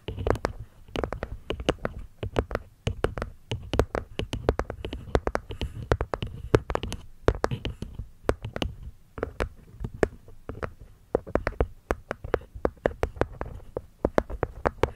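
Long nails tap and scratch the cork top and wooden rim of a small, hollow, hexagonal light-wood box resting on a fluffy mic cover. Rapid, irregular taps give dull, low thuds with short, bright clicks, mixed with soft scratching. Each tap dies almost instantly, with no ring.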